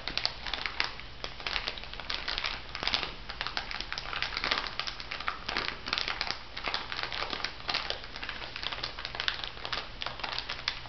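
A small clear plastic bag full of white bath salt granules is squeezed and rubbed by fingertips with long nails. It makes a steady stream of bright crinkling and gritty crunching crackles. A faint low hum runs underneath throughout.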